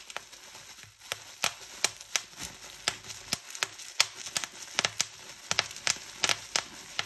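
Fingers twist and pop a gathered fold of a clear plastic bubble wrap sheet, giving roughly twenty sharp, bright pops spread irregularly across about seven seconds. Each pop is a dry, high snap with almost no ring or low end, over a soft crackling rustle of the plastic between them.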